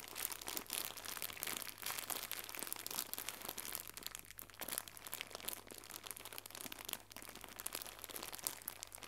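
Fingertips with red nails crumple and fold a small, white, crinkly plastic gift bow. The result is a steady stream of quiet, bright, crackly crinkles with short snaps, over a faint low hum.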